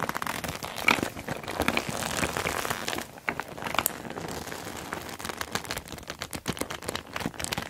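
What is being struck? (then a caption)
Soft plastic zip bag of cosmetics. A small clear PVC zip makeup bag with a neon green zipper, full of cosmetics, is squeezed and pressed between both hands using fingertips and long black nails. Soft plastic crinkles and squelches come in dense, quick bursts with bright clicks and crackles, easing briefly before more steady crinkling resumes.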